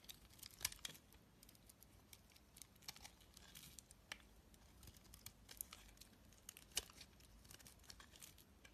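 A black utility blade scrapes curls from the flat face of a hand-sized, solid cream bar of soap with a green rim. Quiet, bright, crisp scratching and crackling rasps run throughout, broken by sharp ticking clicks that die away almost instantly.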